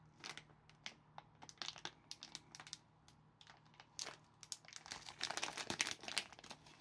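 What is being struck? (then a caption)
Plastic film sweet packet. Gloved fingertips grip a small, thin, flexible red printed plastic film packet of Asda cola bottle sweets, full of sweets, and tear it open. Quiet, bright, crackly crinkles and short tearing snaps come in irregular bursts over a faint steady low hum. The clip ends with the film torn open.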